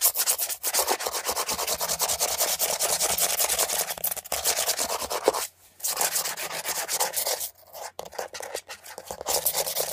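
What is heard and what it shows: Fingernails rub and scratch rapidly along the textured surface of a beige, hollow plastic air freshener dispenser housing held upright. The result is a dense, bright, raspy stream of fast strokes that continues steadily, with brief pauses around the middle and near the end.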